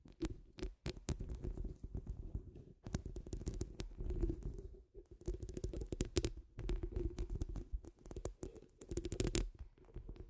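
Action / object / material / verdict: scrape / steel wire-mesh microphone grille scratched with fingernails / steel mesh / none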